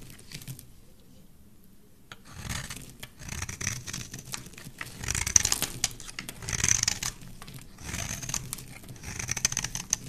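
A metal blade carves a rectangular, solid cream-white bar of soap held in the hand, cutting notches and shavings. After about two seconds of near-silence, bright, crisp scraping and shaving strokes come in irregular bursts, with faint low thuds beneath them.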